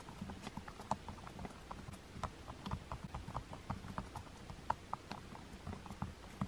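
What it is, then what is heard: Plastic TV remote buttons being tapped. Fingertips with long nails press and tap the rubber number buttons on a black plastic TV remote. It makes a steady, irregular run of short, soft clicks and muffled taps, each with a dull low thump and a brief midrange tick that dies away almost at once.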